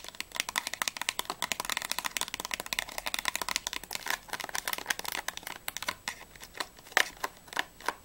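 Long nails tap and scratch rapidly along the sides and edges of a small, closed, printed cardboard box of Ahoj-Brause fizzy candies, hollow with its contents not visible. The result is a dense run of dry, bright clicks and scratchy rustle with almost no low end, each tap dying away instantly. Toward the end the taps thin out into sparser, sharper hits.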